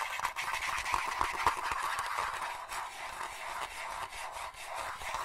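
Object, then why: Hollow plastic crocodile toy. A palm-sized, green, hollow plastic crocodile dentist toy with white teeth is held in both hands and tapped and clicked with the fingertips and nails. It makes a steady run of quick, light, hollow plastic clicks and taps, bright and crisp with a tone around 1 kHz and almost no low end. Each click dies away almost instantly.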